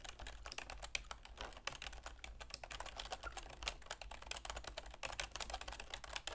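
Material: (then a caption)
Plastic. Long manicured fingernails and fingertips rapidly tap the keys of a full-size black plastic computer keyboard with a silver plastic frame resting on a wooden desk. The sound is a fast, continuous stream of short, bright clicks and clacks that die away almost instantly, over a faint steady low hum.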